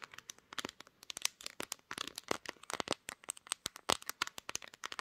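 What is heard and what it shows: Long nails on both hands tap and scratch the glass back of a pink smartphone mounted on a tripod. The result is a rapid, uneven stream of sharp, bright clicks and scratchy crackles that stop almost instantly, with very little low end.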